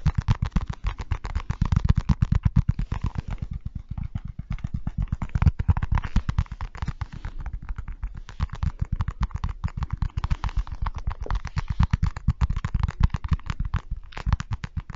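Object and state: Avocado half.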